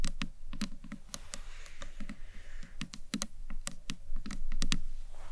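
Long nails tap the top edge and then the sides of a small, hollow, green marbled acrylic box clutch. The sound is a quick, uneven run of sharp, clicky taps, each with a bright tick and a short, low, hollow body that dies away almost at once.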